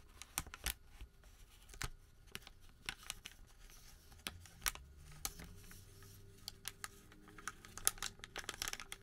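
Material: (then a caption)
Paper. A wrinkled, thin white thermal paper receipt is flexed and crinkled between fingers. Quiet, irregular crackles and sharp, bright snaps sound over a soft, low rustling.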